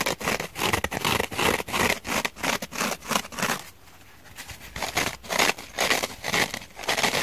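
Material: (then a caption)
Abrasive fibre. Long painted fingernails scratch across the rough, fibrous scouring pad side of a purple kitchen sponge. They make quick, dry, bright scraping strokes in an uneven rhythm. The strokes pause briefly near the middle before resuming.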